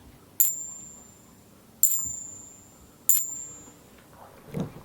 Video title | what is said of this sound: FAKE SILVER? 8 Ways to Test For It | that's the sound of two clad half dollars hitting each other